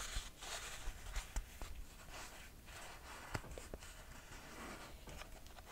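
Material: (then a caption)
Leather, cork. Fingernails scratch and tap the footbed and straps of a red buckle sandal with a leather and cork footbed. Soft, continuous scratching rustles along, broken by a few sharp, dull taps that die out almost instantly.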